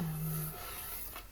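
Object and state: Nothing is struck.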